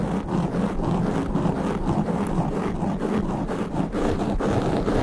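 Fingertips and nails of both hands rub and scratch fast at a soft, porous black foam windscreen on a standing microphone. The result is a steady, dense, muffled rustling and scraping with a heavy low rumble and little brightness, holding an even loudness throughout.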